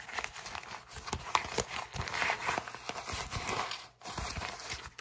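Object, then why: Kraft paper mailer bag. An empty brown kraft paper mailer bag with a tear strip is twisted and crinkled with the fingertips, giving a dense run of dry, bright crackles and sharp snaps. There is a brief pause just before the four-second mark, then the crinkling resumes.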